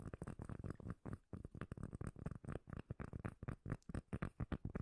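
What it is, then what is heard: Cork lid tapped and scratched. A round, solid, palm-sized cork lid held close to the mic is tapped and scratched with long nails. The result is a quick, uneven series of deep, muffled thumps and soft scraping, each hit dying away almost at once.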